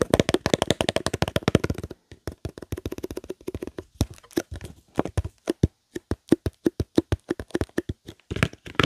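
A long, thin, hollow cardboard box holding a roll of parchment paper is held in both hands near the microphone and tapped with fingertips and nails. A quick flurry of dry, hollow taps in the opening two seconds gives way to sparser, uneven tapping with brief pauses. Each hit is a short, low, boxy knock that dies away almost at once.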